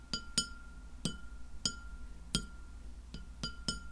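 Long fingernails of both hands tap the surface of a white glass plate lying flat, striking it nine times in an uneven rhythm. Each tap gives a bright, high clink that rings briefly before fading, over a faint steady tone and low background rumble.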